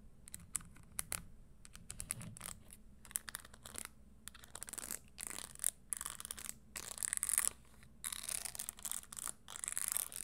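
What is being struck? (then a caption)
Studded leather stiletto shoe. Long fingernails tap and scratch on the tan leather insole and metal studs of an empty red studded leather Christian Louboutin stiletto pump, held on a table and then lifted. The result is a dense run of quick, dry, bright clicks and scratchy rasps with a hollow undertone, and little low end.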